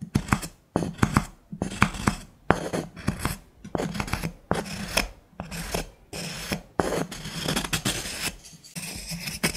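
A wooden stick scrapes and taps inside a small, hollow, empty turned wooden bowl or jar with a threaded rim, held in the hand. Repeated bursts of dry, raspy scraping alternate with sharp, quickly fading taps over a low, hollow resonance near 180 Hz.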